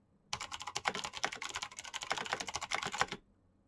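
Fingertips type fast on a black plastic mechanical keyboard with clicky switches, producing a rapid, dense run of sharp, bright clicks for about three seconds. Each keystroke snaps off almost instantly with very little low end, then the typing stops and the clip falls quiet.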